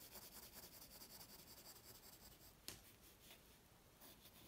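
A graphite pencil rubs and scratches long strokes across a flat white paper drawing sheet resting on a wooden table. The soft, steady scratching is mostly bright, high hiss that rises and falls with each stroke, with a sharp tick of the pencil against the paper partway through.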